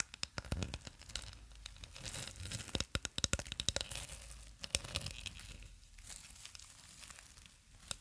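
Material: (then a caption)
Plastic film. A long roll of clear plastic cling film on a tube is held in both hands in front of a microphone, while long nails and fingertips rub and crinkle the film on the roll. Dense, bright crackling and tearing-like crinkles fill the clip, with sharp snapping clicks that cluster most heavily around the third and fifth seconds over a soft low rustle.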